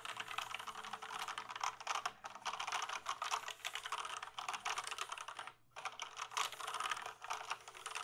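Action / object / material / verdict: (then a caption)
tap / plastic computer keyboard / plastic / none. Fingertips tap and type quickly across the keys of a full-size plastic gaming keyboard held tilted, making a dense stream of short, crisp plastic clicks centered in the midrange with a bright top and almost no low end. The clattering runs steadily with only a brief pause just past the midpoint before resuming.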